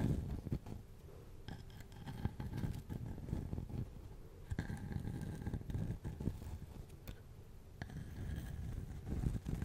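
Fingernails scratch over the rough bark of a solid-looking, hand-sized cylindrical slice of tree log held in one hand near a fluffy microphone. The result is a quiet, continuous, low, muffled scraping and crunching rustle with brief brighter scratchy bursts throughout.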